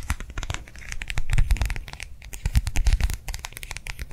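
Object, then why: Clear plastic gel hand warmer. A round clear plastic gel hand warmer pad filled with liquid is held in the hand and quickly tapped and scratched with long nails. Irregular crisp clicks and scratchy crinkles ride over dull, low thumps from the squishy pad.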